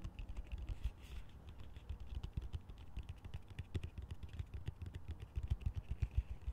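Fingertips and nails tap and scratch the sides and base of a large, hollow, empty green plastic colander held upside down with slotted sides. The result is a quiet, rapid run of short, dull, low thuds with faint scratchy clicks and almost no ring, like soft typing.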